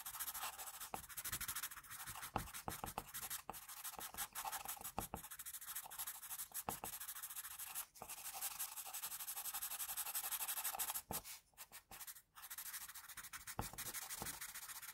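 An HB graphite pencil, held in the fingertips, scratches and rubs its tip across a flat sheet of drawing paper bearing a pencil portrait in shading strokes. The result is a steady, bright, dry scratching hiss with quick stroke-to-stroke flicks, broken by brief pauses around 8 seconds and again between 11 and 12.5 seconds.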